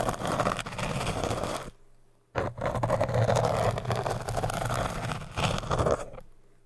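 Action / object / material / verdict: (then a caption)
scrape / hard foam cylinder / hard foam / none. The edge of a business card, held in the fingertips, is dragged and scraped across the solid surface of an upright orange hard foam cylinder. It makes a dense, scratchy rasp with a low rumble and a midrange hiss. The scraping runs for under two seconds, stops briefly, then resumes in longer strokes before fading out.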